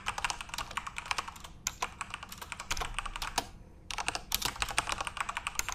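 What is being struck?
Plastic computer keyboard.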